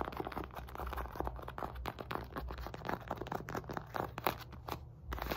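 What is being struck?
Synthetic leather medicine ball.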